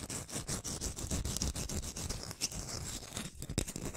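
Long painted nails rapidly tap and scratch the peel of a whole, solid round orange held in one hand. The result is a dense, fast run of short, dry taps with a soft low thump and a bright, hissy scratch over the top, with a few sharper clicks standing out.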